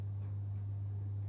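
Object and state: Nothing is struck.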